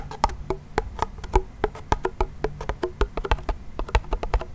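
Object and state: Wooden toy pellet drum.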